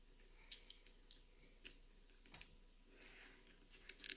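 Long nails tap and scratch the carved lid and sides of a small, hollow wooden trinket box resting on a white shelf. The result is quiet, bright, dry clicks with almost no ring, scattered over a soft, hissy scratching bed, with a cluster of sharper taps near the end.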